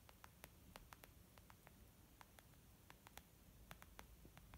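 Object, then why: Small leather zip makeup bag. Long nails tap a small, white, textured leather zip makeup bag lying flat, which sounds soft and hollow. About 19 quick, dry, bright clicks land at an irregular pace. Underneath is a quiet, steady low hum and static hiss.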